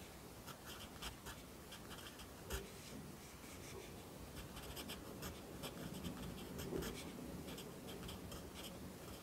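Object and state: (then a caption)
Pencil writing on a paper notebook page. A yellow wooden pencil held in the fingers writes across an open lined paper notebook lying flat on a desk, its graphite scratching on the paper. Quiet, steady scratching is broken by brief bright strokes, with a couple of slightly louder taps as the pencil moves along the page.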